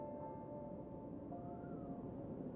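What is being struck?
Nothing is struck.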